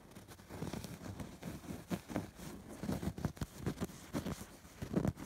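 A fingertip and nail scratch along the stitched borders of a soft stuffed fabric pillow with a raised embroidered pattern. Quiet, muffled scratching and rubbing strokes repeat in short bursts, with most of the energy low and little high brightness, each stroke dying away quickly.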